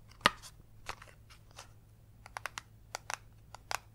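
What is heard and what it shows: A small, hollow, printed cardboard box for a Smarty Pants game, held in both hands, is tapped and scratched with long yellow acrylic nails. A sharp tap opens the clip, followed by scattered soft scratches and then a run of quick, dry clicks with a bright papery edge that die away almost instantly over a faint low hum.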